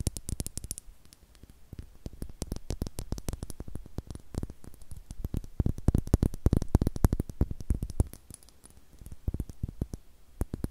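A small, hollow, clear glass star-shaped bottle with a cork stopper, apparently empty, is held in hands and tapped and scratched with long acrylic nails close to the microphone. Quick, irregular clicks and taps come in dense bursts, each a sharp transient with a deep low thump and a bright edge that dies away almost instantly. The tapping swells louder in the middle and softens toward the end.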